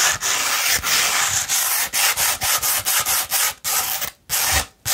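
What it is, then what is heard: Sandpaper sheet. Long red nails scratch up and down a rolled tube of 240-grit sandpaper, making a dry, gritty, bright rasping sound. The strokes come in irregular bursts separated by short gaps, with the sound concentrated in the high range and very little low end.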